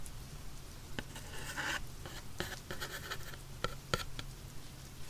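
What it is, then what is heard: Cardboard box tapped and scratched with a pencil. The graphite tip of a wooden pencil taps and scratches the printed surface of a small, hollow, black printed cardboard headphone box lying on its side. Sharp, dry taps with almost no ring are spread among softer scratchy strokes, over a steady low hum.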